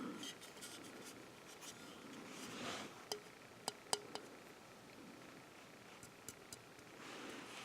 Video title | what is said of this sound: There's More Than One Way To Skin A Cube: Borg Class 4 Tactical Cube | You can hear it's hollow.